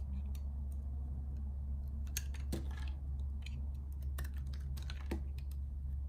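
A metal box-cutter blade scrapes strips off the face of a solid, hand-sized bar of purple soap with lighter stripes. Short, dry, bright scraping clicks come in irregular bursts over a steady low hum.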